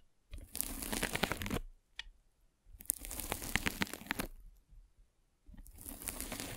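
A metal-spiked derma roller is rolled vertically over a white polyethylene foam mesh net covering a microphone. Each pass makes a dense, crackling, crunchy rustle with bright sharp ticks. Three long passes are separated by short pauses with faint isolated clicks.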